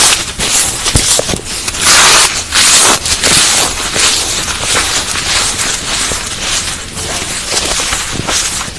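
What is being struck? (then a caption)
Phenolic floral foam. Bare hands squeeze, crush and rub broken blocks and crumbs of dry white-grey floral foam (phenolic foam), a light porous solid, piled in a large pale plastic bowl. A dense, bright crunching and crackling runs throughout, swelling into louder bursts of crumbling between softer rubbing as the foam breaks apart.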